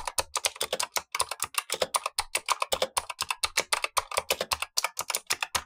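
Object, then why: Plastic mechanical keyboard with clicky switches. Blue-gloved fingertips type steadily on a Razer Huntsman V2 mechanical keyboard with black plastic keycaps and clicky switches, the lower of two keyboards, while the upper keyboard stays untouched. About forty sharp, bright clicks follow in a quick continuous stream, each dying away almost instantly.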